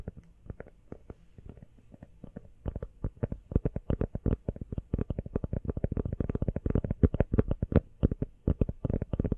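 An empty, small, hollow teal rubber phone case is held sideways in both hands and tapped quickly with long nails. Soft, dull, low thuds start sparse and quiet, then become a dense, louder, irregular patter of muffled taps with almost no ring after each one.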